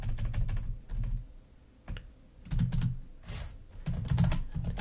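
Long nails type rapidly with both hands on the plastic keys of a black laptop keyboard. Quick bursts of crisp, bright clicks ride over a low, dull thud, separated by brief quiet pauses, and each tap dies away almost at once.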